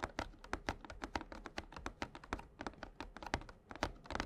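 A small printed cardboard Yu-Gi-Oh Slifer structure deck box, filled with cards and tilted by hand on a playmat, is tapped with fingertips and short nails. A quick, uneven run of dry, short taps mixes soft low thuds with brief bright ticks, each dying away almost at once.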